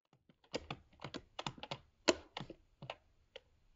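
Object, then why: Laptop keyboard with plastic keys in aluminium body. Fingertips from both hands rapidly type on a MacBook Pro 13-inch laptop keyboard, with black plastic low-profile keycaps set in a grey aluminium body. Quick, dry clicks and taps follow each other with little ring, some slightly heavier than others, and the brightest one lands near the two-second mark.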